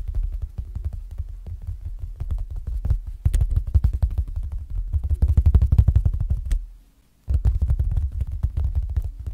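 Fingertips and short nails tap and pat the clear plastic (PVC) front cover of an A6-ring planner binder in a zippered case with a printed paper insert and red zipper trim, lying flat on a bedsheet. The result is a dense run of soft, low, dull thumps with occasional brighter clicks, pausing into near silence for a moment before the tapping resumes.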